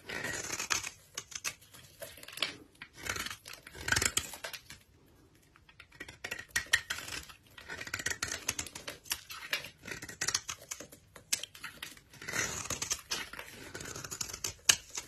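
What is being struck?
Bar of soap.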